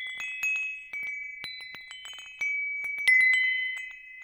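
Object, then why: Hanging metal tube wind chime. A hanging wind chime with hollow metal tubes and a wooden top is dangled over a microphone and gently shaken. The tubes tap together in several light, overlapping strikes, producing bright, sustained ringing tones centered around 2 kHz. The tones shimmer and fade between strikes, with a louder cluster near the end.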